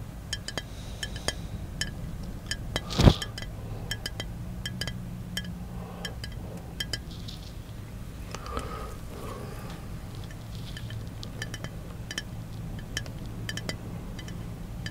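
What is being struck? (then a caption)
Small glass bottle. Fingertips tap the sides of a small, hollow brown glass bottle held in one hand inside a car. Many quick, light, bright clinks with almost no ring sound over a steady low hum, with one sharper, louder tap near the three-second mark.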